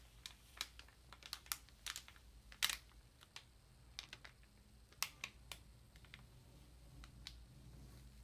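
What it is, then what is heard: Plastic-wrapped paper ream. Long nails and fingertips tap and rub the crinkly thin plastic wrap on a solid ream of printer paper lying flat. About eighteen sharp, bright, dry ticks and crackles come at an irregular, unhurried pace, each stopping almost at once over a faint low hum.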